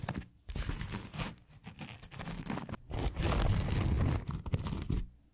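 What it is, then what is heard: Foam scrub sponge being scratched. Long acrylic nails on both hands scratch a round, white, hand-sized solid foam scrub sponge with a smiley face and textured surface. The result is rapid, uneven bursts of dry crinkling and crunching scratches, heavy in low rumble, separated by brief pauses and swelling into a steadier scratching stretch near the end.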